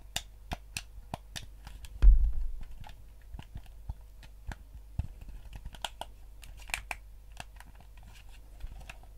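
Fingertips and nails press and click the buttons and tap the casing of a hand-sized yellow GameCube-style plastic gamepad with a hollow shell, held in both hands. Around twenty short, sharp, bright clicks and taps are heard, each dying away almost instantly. A single heavier, duller thump with a low rumble lands about two seconds in.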